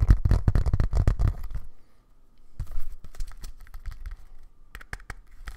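Fingertips tap rapidly on the leather back of a thin, flat, black Bluetooth keyboard held in both hands. The result is a quick, uneven run of soft, dull, low thuds with a pause midway before the tapping resumes, more sparsely.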